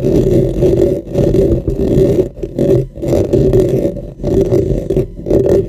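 Fingernails on both hands scratch and rub the top and sides of a dark, hollow, cylindrical microphone with a metal mesh head. The result is a dense, continuous scratchy rasp with a hollow low-mid tone, swelling and briefly dipping as the strokes change.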